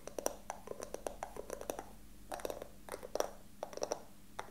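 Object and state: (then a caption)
Carved wooden box. A small hollow wooden box with a carved pattern is held in both hands and tapped and scratched with fingertips and nails. Quick, dry taps with a hollow mid-pitched knock die away almost instantly, in uneven bursts separated by soft scratching over a faint, steady low hum.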